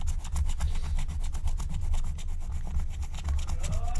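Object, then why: Black-coated scratch-art paper scratched with a wooden stylus. A wooden stylus scratches across a thin black-coated scratch-art card lying flat, using rapid back-and-forth strokes that reveal the colour underneath. The result is a steady, raspy scraping with quick rhythmic strokes over a deep low rumble, and a faint rising tone near the end.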